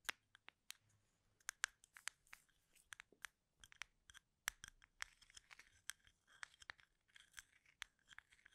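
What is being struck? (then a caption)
Wooden toothpicks in a plastic cup. Fingernails scratch and flick the ends of wooden toothpicks packed in a small labeled plastic cup held horizontally in both hands. A quiet, irregular string of sharp, dry clicks and scratchy rustles sits mostly in the bright upper range, with a peak near 1.6 kHz. Each click stops almost instantly, with no lingering ring.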